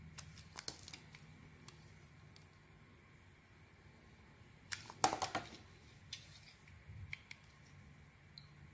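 A small metal blade carves curls from a solid soap bar with a purple coating and a white core. About a dozen short, crisp, bright scraping clicks sit over a quiet background, with the loudest cluster near the middle.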